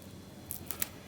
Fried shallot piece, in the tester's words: หักไปแล้วแต่ ... ยังกรอบอยู่เลย